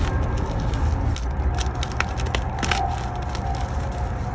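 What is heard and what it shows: A solid white gym chalk block made of magnesium carbonate, held in both hands over a bowl of chalk fragments, is snapped and crushed between the fingers. Dry, brittle cracks and crumbling crackles sit over a steady low rumble, with a faint mid-range tone around 785 Hz lingering underneath.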